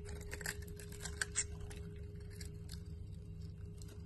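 A utility knife blade shaves and scrapes powdery flakes off the edge of a solid cream-white Dalan bar soap held in the hand. Soft, dry, crisp scraping strokes with bright, papery texture come in short bursts, a few louder flicks standing out early on. All of this sits over a steady low hum and faint background.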